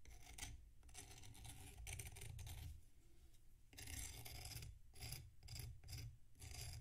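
A metal knife scrapes the surface of a solid packed sand block resting on a plate. Bursts of bright, gritty rasping come in repeated strokes over a low, steady rumble, with a quieter stretch in the middle before the scraping picks up again.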